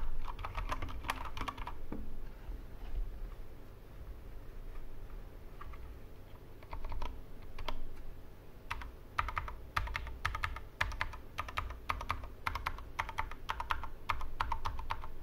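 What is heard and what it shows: Fingertips type on a Corsair K65 Mini 60% mechanical keyboard with plastic keycaps and Cherry MX Red switches on a wooden desk, the left hand resting on the keyboard. Short, dry key clicks come in bursts with a brief pause in the middle, each click carrying a bright midrange tap over a low thud.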